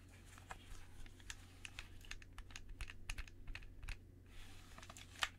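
Gloved fingers in white cotton press and click the buttons and thumbsticks of a hollow black plastic gamepad with teal grips and a cable, held centred between two microphones. An uneven run of short, dry, bright plastic clicks and taps comes over a steady low hum, each click dying away almost instantly, with the loudest click near the end.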